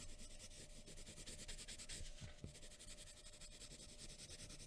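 A graphite pencil tip scratches a thin sheet of white drawing paper lying flat on a wooden table in short, dense shading strokes for hair, with a hand resting on a folded paper sheet. A continuous, quiet, bright rubbing scratch with a soft low rumble runs throughout, with one slightly sharper stroke near the middle.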